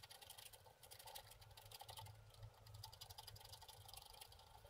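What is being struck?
Wax-coated scratch art card scraped with a wooden stick.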